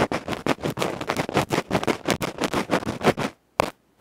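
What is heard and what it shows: A bamboo ear-pick tip rapidly scratches and pokes the felt face of a small metal electret microphone capsule held in fingertips. The result is a fast, uneven run of loud, close, broadband scratching bursts, then silence and two more short scrapes.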